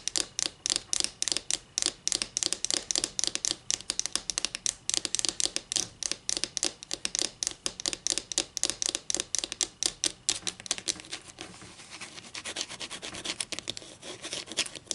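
Long green nails scratch along the surface and edge of a solid wooden ruler held flat near a table, making a rapid run of crisp, bright, dry clicks with almost no low end. Around the twelfth second the clicks soften into a quieter, steadier scratching before the sharp strokes pick up again.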